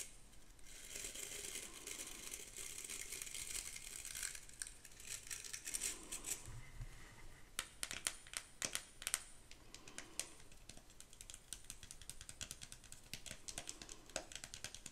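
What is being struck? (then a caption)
Metal-framed bristle hairbrush. Long pink acrylic nails scratch the bristles and metal rim of an ornate vintage hairbrush with a metal frame and bristle back, handled close to the mic. It makes a steady, bright, crinkly scratching, broken by bursts of sharp, dry clicks and taps in the middle of the clip.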